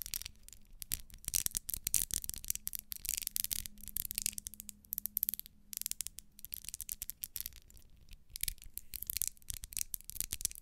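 Long nails scratch the ribbed wax side of a small, solid pink ribbed wax pillar candle. The result is a quiet, continuous run of rapid, dry, bright scratching ticks over a faint steady low hum.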